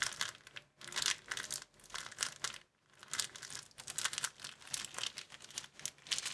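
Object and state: Folded clear plastic film.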